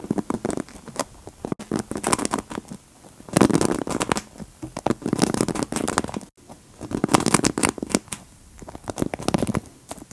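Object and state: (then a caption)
Hairbrush bristles scratched with nails. Long acrylic nails scratch and flick across the dense black plastic bristles of a large wooden paddle hairbrush resting on a cushion, held close to the mic. The result is bursts of dry, crackly scratching and bright ticking flicks that come in clusters separated by brief quiet pauses.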